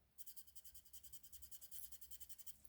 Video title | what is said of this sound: UNBOXING #2 Gadżety Z Prenumeraty DeAgostini Seria Szybcy I Wściekli DODGE CHARGER 1972 SKALA 1/43 | Dach jest bardzo ciekawy bo jest taki jakby karbonowy i jest zupełnie też inny dźwięk